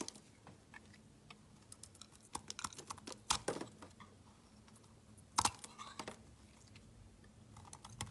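A metal blade shaves and cuts slivers off a solid translucent yellow glycerin soap bar. Short, dry, bright clicks and scrapes come in an irregular run, with louder crunchy cuts near the middle and two-thirds through. A faint low hum sits underneath.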